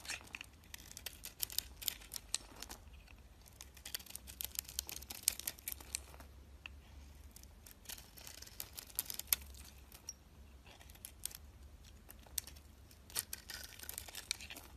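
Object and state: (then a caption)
Bar soap being shaved. A solid oval bar of soap with a green and yellow coating and a white interior is held in hand and shaved with a metal utility blade. The result is a rapid series of quiet, crisp, bright scraping and crackling cuts, each short and dry, over a faint low hum.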